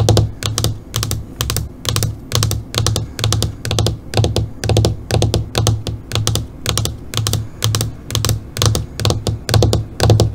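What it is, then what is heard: LCD computer monitor screen. Long fingernails tap rapidly on the surface of a flat black LCD computer monitor screen with a light reflection, in quick bursts of clicks. Each cluster pairs a dull low thump with bright, sharp clicking that stops almost at once, repeating at an uneven, steady pace throughout.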